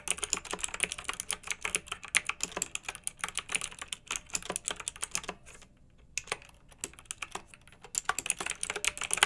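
Fingertips type steadily on a pink backlit, typewriter-style plastic mechanical keyboard with round metal-rimmed keycaps. Crisp, bright, short clicks come in quick bursts, then pause briefly about halfway through. The typing resumes at the same brisk pace.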